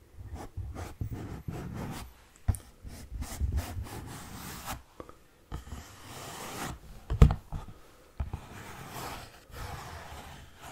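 An orange Kleenex cardboard tissue box, hollow and rectangular, is held in both hands and scratched and rubbed with fingernails. Dry, papery scraping comes in irregular bursts, mostly low and hollow in tone, with a few sharper, louder scratches standing out partway through. The strokes are short with almost no ring, leaving a soft, muffled rasp.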